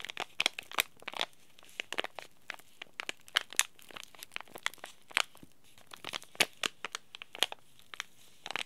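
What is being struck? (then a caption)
Laminated plastic-foil tea bag packet. A small green laminated plastic-foil tea bag packet, held in both hands, is crinkled and scratched by the fingertips. Quiet, dense bursts of sharp, bright crackles come and go in irregular clusters, with almost no low end and no ringing between them.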